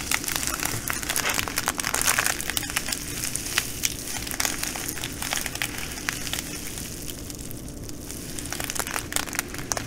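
Two hands with long nails squeeze and scrunch a full, clear plastic bag of green glass bugle beads. Dense, bright crinkling and crunching of the plastic and the beads goes on steadily for about ten seconds, with many sharp little clicks.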